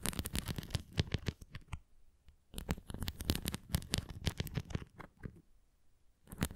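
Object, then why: Plastic flying disc. A red plastic flying disc toy is held tilted while long nails scratch and tap its bumps and rim. Quick, dry clicks and scratchy patters come in dense bursts with brief pauses and a low, thumpy body beneath the bright edges.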